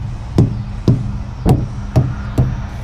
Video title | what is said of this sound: Good Morning, GoodBye!- Pinoytrucker | So kung hindi siya flat, iba, ganito yung tunog niya.